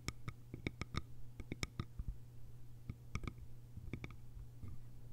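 Long pale almond-shaped nails tap the top edge and sides of a small, round, hollow bamboo jar with a fitted bamboo lid, resting on grey fabric. Quick, dry, bright clicks sound in an uneven rhythm, each dying away almost instantly over a steady low hum.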